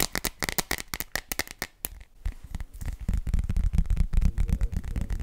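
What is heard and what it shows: Long nails tap and grip an empty clear plastic glitter phone case, a hollow thin shell. For about two seconds they make quick, bright, dry clicks. Then the sound shifts to denser, lower, thumpier taps and grips that grow louder toward the end.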